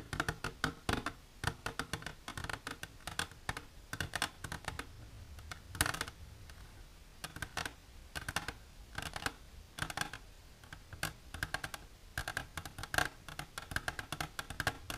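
Long silver nails tap the walls of an empty, hollow, clear plastic container with a divider. A steady run of quick, dry clicks sounds up close, each one short and bright with almost no ring, arriving in irregular bursts and brief pauses.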